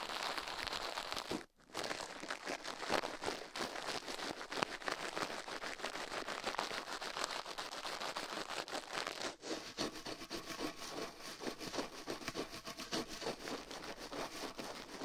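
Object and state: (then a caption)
Toothbrush scrubbing a silicone ear. A toothbrush rubs the soft silicone left ear of a binaural microphone set on a metal mic plate, scrubbing in slower strokes while the other gloved hand rests. Dense, bright scratchy bristle rasps run almost nonstop, broken by a brief silence near 1.5 seconds and a short drop near 9.4 seconds, with very little low end.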